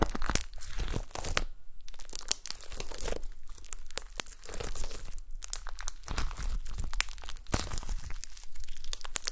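Long nails poke and scratch a flat, solid gold glitter slime resting on a table. The result is a steady stream of short, dry crunching and crinkling clicks with a bright, crisp edge and a soft low rumble underneath, separated by brief pauses.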